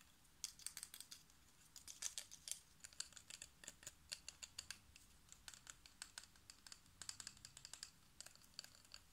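Fingertips and short nails rapidly tap the metal screw base and the white glass spiral tubes of a hollow, hand-sized compact fluorescent energy-saving bulb with a plastic collar. The result is quiet bursts of light, bright, clicky ticks that stop almost instantly, with brief pauses between the flurries and almost no low end.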